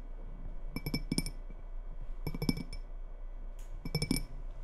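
Long red nails tap on the sides of a small faceted glass tumbler, partly filled with water and held in both hands. Clusters of quick, bright clinks come in three bursts over a low steady hum, each tap ringing only briefly.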